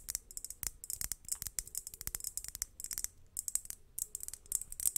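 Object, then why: Crackled glass globe lamp. Long nails tap and scratch a large hollow crackled-glass globe lamp with fairy lights inside, resting in front of the mic. A rapid run of short, sharp clicks and scrapes sounds bright and high, each dying away almost instantly, over faint low rumble.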